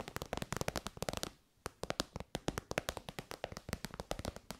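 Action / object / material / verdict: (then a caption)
tap / synthetic faux-leather pouch / faux leather / none. Long white nails tap rapidly on the end and side of an elongated, shiny pink metallic faux-leather pouch, soft and hollow. About 32 quick, dry taps sound with a hollow mid-range tone and a bright, crisp edge. They fall in brisk irregular runs with one brief pause near the start, each dying away almost at once.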